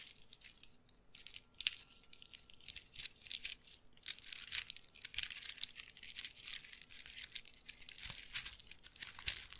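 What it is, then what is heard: Wooden bead handbag. A hollow, apparently empty dark brown handbag woven from glossy wooden beads, with a bead chain strap, is squeezed and shaken with the fingertips close to the mic. The beads rub and clack in dense, irregular bursts of bright, crinkly clicking that is almost all high treble with virtually no low end. Each click dies away instantly.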